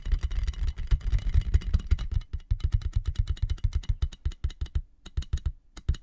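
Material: Plastic.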